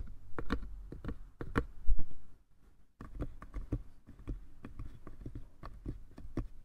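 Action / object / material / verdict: tap / small wooden box / wood / none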